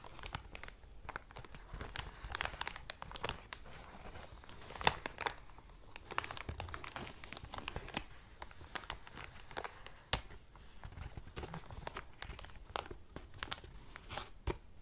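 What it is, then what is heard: Thick clear plastic bag being crinkled. An empty, thick, clear plastic cellophane bag is flattened, lifted and crinkled between both hands with long dark nails, while its cardboard header lies untouched in the corner. Dense, bright crackling and crumpling continue throughout, mixed with softer rubbing and scattered sharper snaps.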